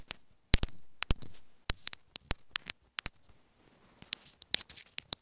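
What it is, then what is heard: Plastic earphone inline microphone. Long nails tap on a small white plastic inline remote microphone on an earphone cable resting on a bed. Sharp, bright plastic clicks come in a quick, irregular series, each dying away almost instantly, with faint scratchy rustles between some of them.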